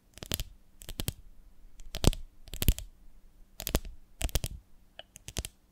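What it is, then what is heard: Glass honey jar, full. Long nails tap and scratch on a medium, ribbed, beehive-shaped glass jar with a lid, full of honey. Short, sharp clicks come in irregular clusters with brief scratchy strokes between them. Each tap dies away almost at once, with bright ticks over a dull low body.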